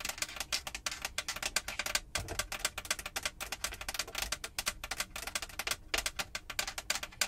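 Long pointed acrylic nails rapidly tap and scratch a large, hollow-backed, textured light grey molded plastic roof/headliner panel inside a Jeep. The result is a dense stream of sharp, bright clicks and scrapes that stop dead with almost no ring, mixed with faint low thuds.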